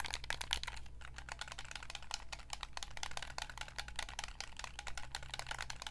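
Long nails tap rapidly on the buttons and hollow hard-plastic shell of a white, hand-sized Xbox 360 gamepad held close. The result is a dense stream of dry, bright, clicky taps that stop almost instantly, over a steady low hum.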